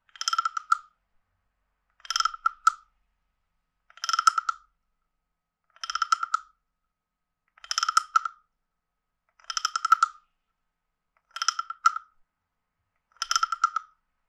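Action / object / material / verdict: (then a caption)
scrape / carved wooden frog guiro scraped with a wooden stick / wood / none. A wooden stick is run across the ridges of a hand-sized, hollow, carved wooden frog guiro. It makes eight separate ratchet-like croaks, each a quick burst of dry wooden clicks with a nasal tone around 1.3 kHz and bright overtones. Each croak is spaced by short silences, with no low end.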